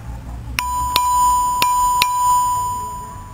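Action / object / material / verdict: strike / stone bell (lithophone rock) / stone / rings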